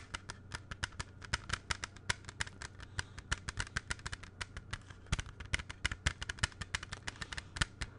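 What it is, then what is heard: Plastic CD jewel case. A closed, hollow, small plastic CD jewel case is held close to the microphone in both hands and tapped with fingertips and nails. A quick, irregular run of sharp, dry clicks with almost no ring plays over a steady low hum for the full eight seconds.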